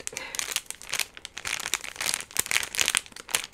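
A small orange printed plastic Peeps pumpkin candy bag, full of marshmallow candies, is held in both hands and squeezed and crinkled with fingertips and long rings. It gives dense, bright plastic crinkling in quick bursts of sharp crackles, almost all high-pitched with very little low end.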